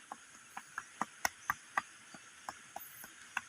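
A boulder is tapped on the solid part of its surface, right next to a hollow spot. The series of short, dry, clicking taps dies away almost instantly, with a midrange knock and a faint high hiss between hits. The spot is judged solid, not hollow.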